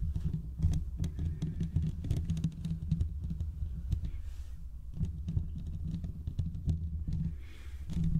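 Short fingertip nails scratch both sides of the hollow metal mesh grille on a large condenser USB microphone. The result is a steady, dense patter of rapid scratchy ticks over a deep, boomy low rumble, with almost all the energy in the bass and brief, dry clicks that die away quickly.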